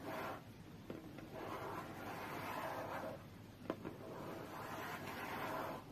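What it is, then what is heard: Cardboard tablet box tapped with fingernails. Long fingernails tap and brush over a closed, hollow, medium-sized white cardboard tablet box. Soft, swelling scratchy rustles in the mids are broken by three sharp, dry clicks. The sound is quiet and close, with almost no ring after each tap.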